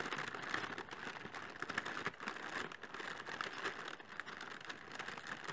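Inflated clear polyethylene air pillows, hollow air-filled packing material, are held over a cardboard box and tapped and scratched with long fingernails and fingertips. The result is a steady stream of quick, dry crinkling taps and scratches, concentrated in the upper mids around 1.7 kHz with bright edges and almost no low end. Each touch dies away almost instantly.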